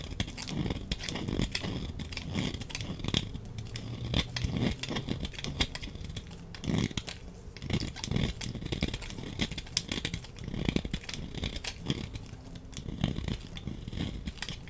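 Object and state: Laundry soap bar being cut.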